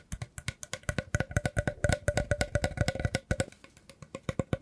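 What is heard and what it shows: A hollow woven rattan basket is held in the hands and scratched with the fingertips along its edge and weave. Around thirty quick, dry scratching taps follow one another with a hollow, low body and a faint ringing tone underneath. Each stroke dies away almost at once.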